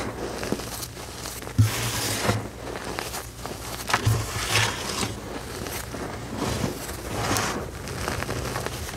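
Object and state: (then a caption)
Loose gym chalk powder. Bare fingertips with short nails press, pinch and rub through a flat bed of fine, pale green loose gym chalk powder. The result is soft, crunchy crinkling and gritty rustling in slow, uneven swells with a few sharper crackles, over a steady low hum.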